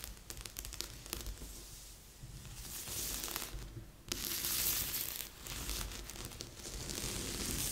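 Flat palms and fingertips rub and scratch across a large assembled cardboard jigsaw puzzle lying flat on a board. The result is a dry, bright, papery scratching and rustling with faint low thumps underneath. It starts soft, then turns steadily louder and denser from the middle of the clip onward.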